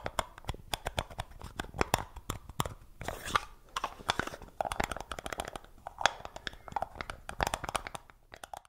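Fingertips grip, twist and tap the screw lid of a small, round, hollow black plastic jar held close to the microphone. The result is a dense run of quick, dry clicks and taps with short crunchy, scratchy twisting passages between them. Each tap has a hollow, mid-pitched knock around 800 Hz and a bright edge, and dies away almost instantly.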